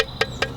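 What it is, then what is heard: Cracked clay pot, dull sound. An earlier primitive fired clay pot with visible cracks is tapped three times in quick succession. Each tap gives a short, dull knock around 450 Hz that dies away almost at once with no ring, the flat sound of the cracked pot compared with a sound one.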